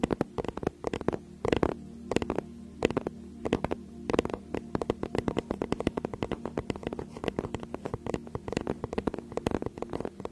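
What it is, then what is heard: Faux leather tablet case. Long nails scratch and tap the cover of a teal faux-leather tablet case held close behind the microphone. Rapid, irregular dry clicks and taps crackle over soft scratching, with a faint steady low hum underneath, all at a quiet, close-up level.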